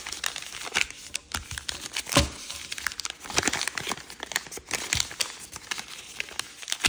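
Green patterned origami paper, folded into a narrow shape, is creased by fingertips pressing it against a table. The result is a dense run of crisp, bright crinkles and short papery crackles, with a louder crease swell just after two seconds.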